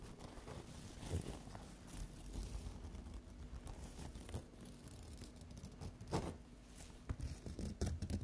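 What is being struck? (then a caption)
Thin paper sheet. Long green acrylic nails and fingertips scratch and tap a large, thin white paper or tissue sheet lying flat on a table. The result is a quiet, low-heavy crinkling and scraping texture with soft, papery taps and a few sharper scratchy bursts.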